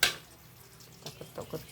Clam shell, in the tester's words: Kita ketuk-ketuk berarti dia hidup. Oke, berarti dia ada isinya